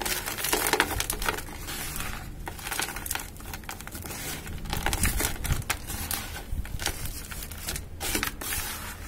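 Hands dig into dry cement powder, scooping gritty granules and crumbling a cement lump between the fingers. Continuous dry crunching and crinkling with a low rumble runs throughout, broken by many short gritty crackles and bright hissy grains.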